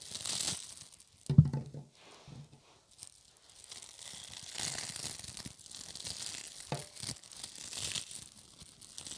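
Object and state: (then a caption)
Soft plastic burr ball toys. Hands squeeze, pull apart and fingertip-rub a hand-sized clump of small red soft-plastic spiky Bunchems burr ball toys on a wooden table. Soft crinkling, tearing-like rustles and crunchy scratches come in uneven bursts. One sharp, louder low thump lands early, then quieter bristly rubbing continues.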